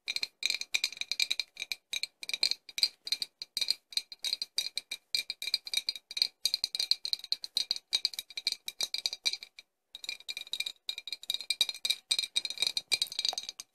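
A hollow, apparently empty, medium clear embossed glass flask with a cork stopper is held in both hands and tapped quickly with long nails. The result is a dense run of short, bright, clicky glass taps with a ringing tone near 2.5 kHz and higher, pausing briefly near ten seconds before resuming.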